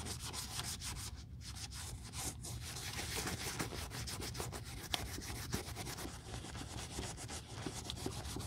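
A cotton ball held in metal tweezers is rubbed over the crinkled black quilted leather of a Chanel 2.55 Reissue flap bag during restoration. A steady, soft scuffing hiss continues throughout, bright at the top with a low, dull underlayer, broken by a few faint sharp ticks.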